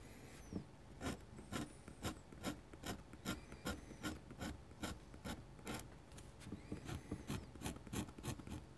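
A dip pen with a metal nib, held in the fingers, scratches short ink hatching strokes across a large, flat, thin sheet of white drawing paper resting on a desk. About eighteen quick, dry rasping scratches come at an uneven pace of roughly two per second, each with a bright, high edge over a soft low body. Each stroke stops almost at once with no ring.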